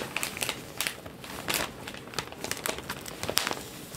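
A large, thin newsprint newspaper lying on a table is folded, flipped and crinkled by hands and fingertips. The result is a steady stream of bright, dry paper crackles and rustles, with several sharper crinkling peaks and almost no low end.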